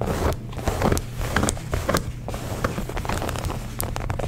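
Long nails scratch rapidly along the stitched waistband seam, belt loop and fabric of light blue denim jeans. The result is a dense, irregular run of dry, crackly scrapes with bright, sharp streaks over a steady low rumble.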